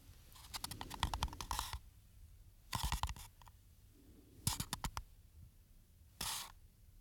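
A small, hollow green paper coffee cup with a ribbed, embossed outer wall and a white rim is held by hand near the microphones while fingertips and nails scratch and tap its textured side. Four short bursts of quick, dry clicks and scratchy crackles, each with a soft hollow thump underneath and a bright papery edge, are separated by quiet pauses.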